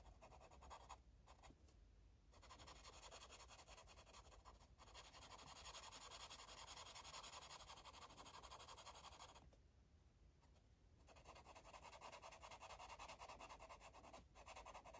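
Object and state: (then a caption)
Marker strokes on a paper coloring page. A yellow marker is stroked across a paper coloring book page, producing a steady, dense scratching and rubbing sound with bright, papery texture. The strokes come quickly and fairly evenly, with brief quieter dips between passes.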